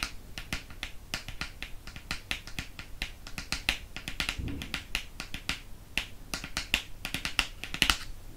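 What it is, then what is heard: Hardcover book. Fingernails tap the glossy board cover of a Harry Potter and the Prisoner of Azkaban hardcover held close to the camera. The result is a quick, uneven series of crisp, bright clicks, each dying away almost at once, with a faint low rumble underneath.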